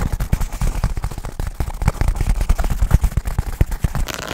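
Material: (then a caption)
Nylon fabric. Fingertips tap and scratch rapidly on a black nylon fabric bag that is rubbed over the mic, making a dense stream of quick, dull, low thumps. Brief brighter scratchy rustles come through between the taps, with a slightly hissier rub near the end.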